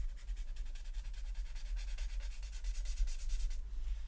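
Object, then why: Felt-tip marker on a paper sheet. A felt-tip alcohol marker, held in the right hand, rubs and scratches across a flat sheet of white paper printed with a mandala while filling in color. The sheet lies on a folder on a wooden desk, held by the left hand with long nails. Quick back-and-forth strokes make a steady, bright, scratchy hiss over a low rumble, and the strokes stop near the end.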